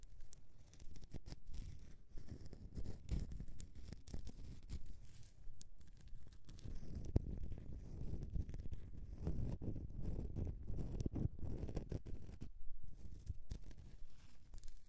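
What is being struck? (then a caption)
Bar of soap scratched by fingernails. Long nails scratch a rectangular, solid grey bar of soap with embossed lettering as it rests on a mesh mat. The sound is a steady run of dull, low scraping and rasping strokes, with almost no bright or high content, continuing for about fifteen seconds.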